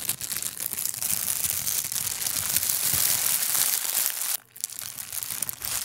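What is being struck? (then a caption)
Thin plastic bag. A large, thin, empty, translucent clear plastic bag is bunched up and squeezed with the fingertips beside the microphone. It makes a steady, dense, bright crinkling and crackling with almost no low end. The crinkling breaks off briefly just after four seconds, then resumes more softly.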